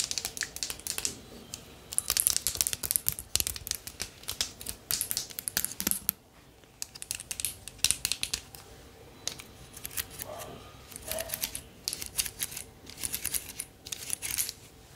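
A bundle of thin wooden or bamboo sticks held in the hand is scratched, tapped and rattled with long nails. The result is a dense run of quick, dry, bright clicks and crackles with almost no ring. Brief quieter pauses break up the rattling.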